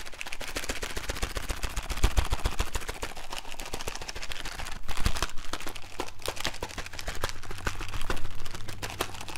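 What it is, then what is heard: Cardboard candy box tapped. A small hollow printed cardboard Bertie Botts beans candy box, held in one hand, is tapped rapidly with the fingertips and nails of the other hand. The result is a dense, irregular stream of short, dry clicks and taps over a steady low hum.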